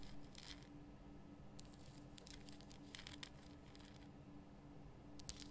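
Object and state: Himalayan rock salt lamp.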